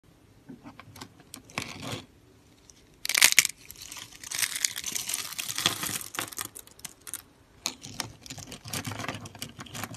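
Fingertips pinch and crush the edges of a palm-sized, solid yellow bar of dry soap shaved into thin stacked layers, resting on a wooden table beside rolled coils of the same soap. Brittle flakes crunch and fall off in bright, dry, crackly bursts, with the loudest crunch near the start and a steady run of irregular crinkling crunches after it.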